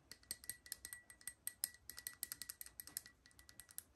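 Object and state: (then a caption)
Porcelain espresso cup. A small, hollow, empty white porcelain espresso cup is held by the handle while long nails tap its outer wall and rim. The sound is a quick, irregular run of light, bright clinks, each dying away almost instantly, with a faint steady tone near 2 kHz and a high ring above it.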